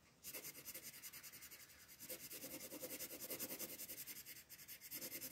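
A pink colored pencil is rubbed in short shading strokes across a sheet of white paper printed with a floral design, lying flat on a table while the other hand, with long nails, rests on the sheet. About seventeen quick, bright, scratchy strokes follow one another in a steady, slightly uneven rhythm, with a brief pause near the end.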